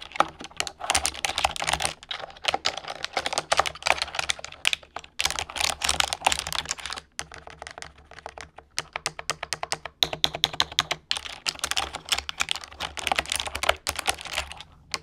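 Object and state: Plastic computer keyboard.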